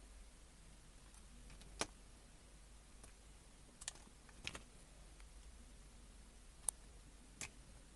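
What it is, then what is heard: Bar soap being carved. A small metal blade cuts and scrapes grooves into a pale yellow-cream, hand-sized rectangular bar of soap held in the fingers, curling off flakes. Short, sharp, bright scraping clicks come at irregular intervals over a quiet, steady low hiss, each ending almost instantly.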